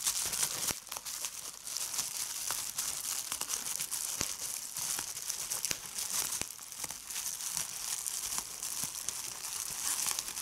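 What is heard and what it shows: Fingers with red nails crumple a sheet of clear plastic bubble wrap and pop its bubbles. A steady, bright crinkling hiss runs throughout, broken by short, sharp pops scattered across the clip.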